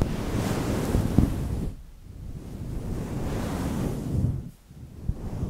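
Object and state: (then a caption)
Synthetic fur microphone windscreen being scratched. Fingertips, mostly one hand, brush and scratch a fluffy grey faux-fur windscreen on a microphone. The result is a dense, low, rumbling rustle that sounds like wind or surf, swelling and fading twice as the rubbing pauses briefly.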